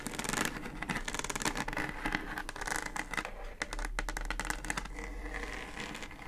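Long acrylic nails tap and scratch the plastic top of a hollow pink plastic Bluetooth speaker housing with a round centre control. The result is a steady run of quick, dry clicks and rasping scrapes with a bright, hollow plastic tone and almost no ring.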